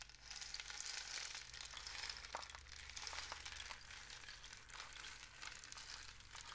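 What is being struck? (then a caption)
Cardboard rainstick tube with loose filling. A long, hollow, painted cardboard rainstick tube is held with the fingertips and tilted, sending its filling trickling down inside. The result is a steady, bright, hissing patter of many tiny clicks that swells and eases slightly but never stops, with little low end.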